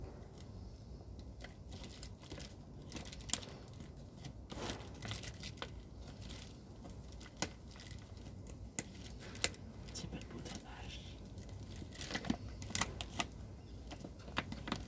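Fingers crumple and rub the plastic opening at the top of a large white plastic rice sack that appears full. The result is a steady, quiet crinkling and rustling texture with scattered sharp, bright crackles throughout.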